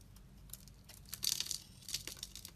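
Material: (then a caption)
Soap. A utility knife blade scrapes across a solid, opaque, hand-sized pink bar of soap held in the hand, shaving many small curls from its surface. Soft, bright, crackly scraping rises in short bursts that swell louder in the middle of the clip. The scrapes fade almost at once, with no ring.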